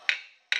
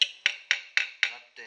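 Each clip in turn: First: copper sheet not seated on stake, ringing. Second: copper sheet seated firmly on stake.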